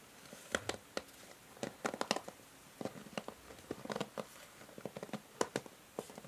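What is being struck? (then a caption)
Plastic hair brush back. Fingertips and nails tap and rub across the grey plastic back of a hair brush. Around twenty quiet, dry, sharp clicks and ticks are heard in irregular bursts, with faint scratchy rubbing between them and almost no ring after each hit.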